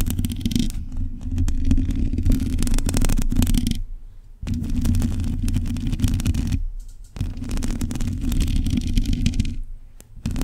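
Long nails scratch and tap across a black metal mesh microphone grille, producing a dense, rumbling scrape that sits mostly in the low range. The scratching comes in three long stretches separated by brief quiet pauses, with a rough, steady texture throughout.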